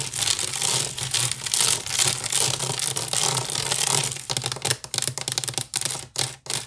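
Fingernails scratch and tap the woven strands of a large, hollow woven wicker basket. A dense, bright, rapid scratching hiss runs for about four seconds, then breaks into short, separate scratchy bursts and taps that trail off.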